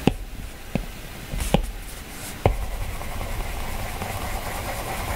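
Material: Glass.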